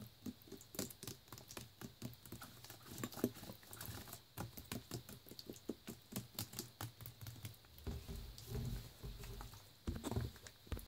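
A full clear plastic Naked juice bottle with a blue cap is held in the hand and tapped with the fingers on its body and label. A rapid series of soft, dull, short taps patters on without pause, with some brief sloshing of the juice inside.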